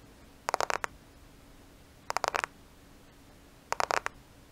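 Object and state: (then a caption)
Smartphone (glass and plastic). A black smartphone with a glass and plastic body is held in front of a microphone while its surface is lightly tapped and scratched with the nails. Three short bursts of quick, dry clicking taps come at irregular intervals, bright and crisp with almost no ring. Faint steady background noise fills the gaps between them.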